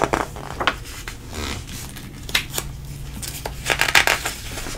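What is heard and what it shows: Fingers flip through several thin, glossy pages of a food recipe magazine, turning page after page. Crisp, bright paper rustles and sharp flicks rise over a faint steady low hum, with a flurry of quick snaps near the end.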